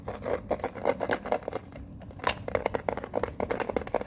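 Long fingernails tap and scratch the lid of a small printed metal Pokemon card tin held up close. A quick, uneven series of light, dry clicks with a faint metallic ring near 500 Hz is interspersed with soft scraping, briefly easing into quieter scratching near the middle before the tapping resumes.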